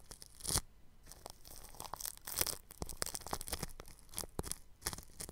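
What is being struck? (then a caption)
Plastic cling film stretched over a microphone grille. A bristle paintbrush brushes the grille of a round microphone wrapped in clear plastic cling film. Scratchy, crinkling strokes come in quick, uneven bursts, each a sharp, bright, broadband crackle with a dry low thump underneath, between quieter rustling.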